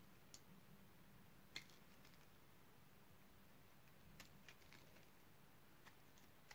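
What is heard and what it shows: A utility knife blade carves the surface of a solid dark purple bar of dry soap, making soft, crisp scraping clicks over a quiet low background hum. The sharp, bright snaps come at scattered moments, the loudest about one and a half seconds in, and each dies away almost instantly.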